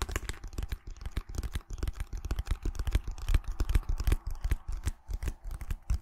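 Long nails scratch and tap the flat, hollow back of a small white cardboard display box held in both hands. A rapid, irregular stream of dry taps and scratchy strokes comes through, mostly as soft, hollow low thumps with sharp clicky edges that die away instantly.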